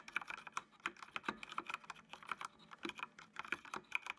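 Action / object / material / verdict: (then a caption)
tap / plastic mechanical computer keyboard / plastic / none. Fingertips type on the keys of a full-size black plastic mechanical computer keyboard with RGB backlight. The result is a quick, uneven run of sharp, bright clicks with very short decay and almost no low end.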